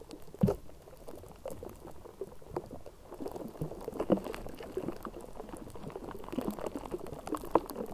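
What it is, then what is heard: Metal microphone grille scratched with nails. Long manicured nails of both hands scratch and rub the bare metal mesh grille on the hollow dome of a Blue Yeti USB microphone. The result is a dense, crackling scrape that bubbles like a boil, with sharp clicks standing out above it.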